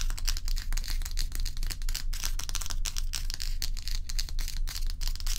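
Long pointed nails tap and scratch rapidly on the frosted top surface of a large, solid, round ice block. Dense, bright scratching and crisp ticks sit over a steady low hum, with the taps coming in a quick, fairly uneven stream.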